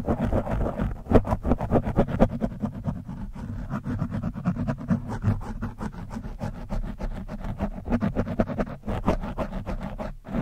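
A metal screwdriver tip, held vertically, scratches across the top of an orange foam microphone windscreen. The result is a rapid, continuous series of muffled, rough scratching strokes, heavy in low rumble with a steady low hum underneath and almost no high-end brightness.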